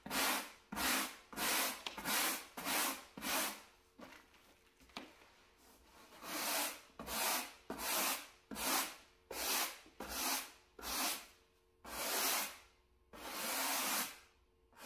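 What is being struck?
Low-pile carpet mat scrubbed with a bristle brush.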